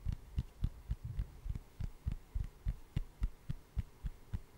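Long acrylic nails tap a hand-sized solid wood slice with a bark edge close to the mic, giving fourteen short, dull, low-pitched knocks. The taps come quickly and somewhat unevenly, and each one dies away almost at once.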